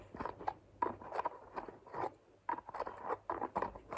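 Fingertips and long nails open and close the green flip cap of a white plastic lotion bottle and tap on the bottle. A quick series of sharp plastic clicks and light taps is heard, each short and dry with a bright tone near 1 kHz, separated by soft rustling.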